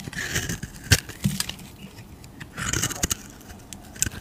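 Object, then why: Bar of soap. A utility knife blade shaves the surface of a solid cream-white bar of soap with a purple rim, held in the fingers. Bright, crackly scraping passes come in bursts, broken by sharp clicking ticks and soft low handling rumble.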